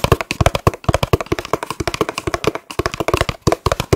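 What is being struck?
Small cardboard food box.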